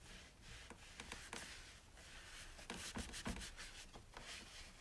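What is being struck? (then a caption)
Plastic coffee maker. A hand wipes the top and lid area of a white plastic single-serve coffee maker with a paper towel while the other hand steadies the drip tray; the lid may be handled at the end. Soft, breathy rubbing swishes sweep back and forth, punctuated by a few brighter scuffs and light knocks against the hollow plastic body.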